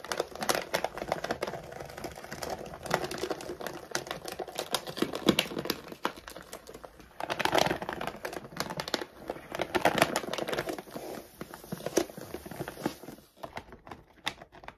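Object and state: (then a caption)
Plastic dog food bag. A full laminated plastic dog food bag lies flat while long nails scratch and tap quickly across its printed front. The result is a dense run of sharp clicks and scraping with some crinkling of the plastic. The taps are short and dry, with bright upper edges.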